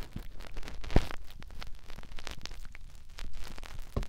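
Fingertips rub and scratch the canal opening of a white, soft silicone ear on a white binaural microphone body. The result is close, muffled rustling and scratching, heavy in the low end, with sharp thumps near the start, middle, and end.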